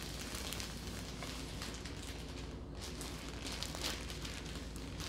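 A hand with long nails grips and squeezes a full, soft loaf of sliced multigrain bread in a thin plastic bread bag with its fingertips and lifts it. The thin plastic gives a steady, bright crinkling and crackling throughout, over a constant low hum.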